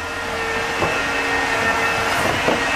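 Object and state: Nothing is struck.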